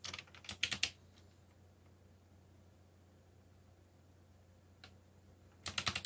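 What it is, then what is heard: Plastic mechanical keyboard being typed on. Fingertips of one hand, one finger bandaged, type on a backlit mechanical computer keyboard with black plastic keycaps carrying Korean and English legends. A quick run of bright, clicky keystrokes opens the clip, followed by a long near-silent pause over a faint low hum and a single soft tap. A final burst of sharp clacks closes it.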